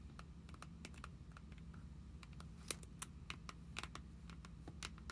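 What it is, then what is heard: Trading cards in plastic sleeves. Long nails tap and scratch across paper trading cards held in the clear plastic sleeve pockets of an open binder page. Quick, dry clicks with bright, crisp tips sit over a steady low hum, a few taps landing sharper and louder than the rest.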